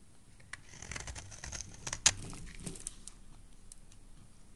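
A utility knife blade scrapes long shavings from the edge of a solid, hand-sized orange oval soap bar held in the hand. The result is a series of dry, crisp, bright scraping and crinkling rasps, with one sharper, louder snap in the middle before the shaving sounds taper off.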